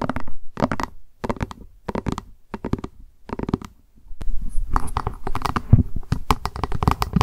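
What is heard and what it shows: Fast tapping and scratching with long acrylic nails on a small, hollow plastic lunch box with a white printed lid, held upright. Bursts of quick clicky taps come in short groups for the first four seconds, then give way to denser, continuous tapping and scratching with a hollow, low-weighted body.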